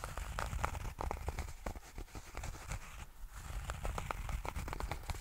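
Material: Tweed fabric.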